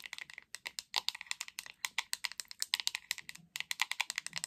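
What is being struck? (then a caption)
Hollow plastic paddle hairbrush. Long acrylic nails tap rapidly on the back of a hot pink hollow plastic paddle hairbrush, producing about 35 quick, dry, bright clicks with almost no ring. The taps come in uneven bursts with brief pauses, sounding much like fast typing.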